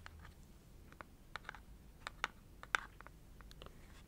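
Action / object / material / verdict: tap / small printed cardboard box / cardboard / none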